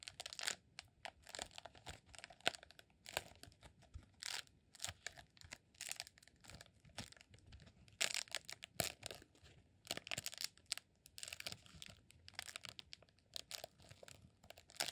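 Fingertips scratch and press the textured surface of a solid roll of green rolled honeycomb beeswax candle. The result is quiet, dense, bright crackling and crinkling, with rapid dry scratches in uneven bursts and almost no low end or ring.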